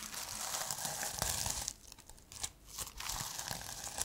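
Fingertips and long nails rub and scratch across the plastic sequin cover of a notebook held close to the mic. The result is a dense, bright, crinkly rasp that eases into a quieter, sparser stretch midway, then builds back to steady scratching.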